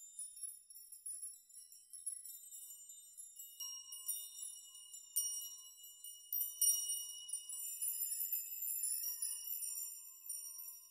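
Hands grasp and sweep through dense rows of hanging metal nails on both sides of a metal nail chime, shaking them so the nails clink against each other. The result is a quiet, bright, tinkling shimmer of many short metallic clinks that ring only briefly, with irregular louder swells as the nails are swept and shaken.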